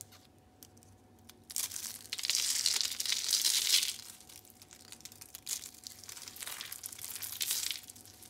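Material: Soap.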